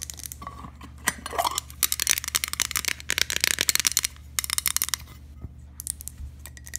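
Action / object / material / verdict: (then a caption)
tap / glass object / glass / none. A glass object is tapped in an ASMR-style session, giving a rapid series of light, bright clinks and ticks with short scraping touches between them. The taps are sharp and high-pitched, dying away almost at once over a low steady hum.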